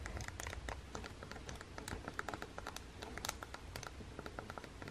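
A fingertip with long painted nails presses and taps the face buttons on a red Joy-Con of a small, hollow plastic Nintendo Switch game console resting on a table. The result is a quiet, rapid stream of dry plastic clicks and taps that die out almost instantly, over a low background rumble.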